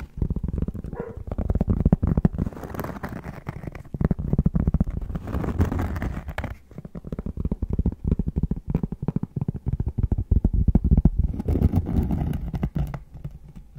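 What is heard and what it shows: Cork is tapped and scratched, giving a dense run of quick, dull, low taps. Rough scratching swells in and out between the taps.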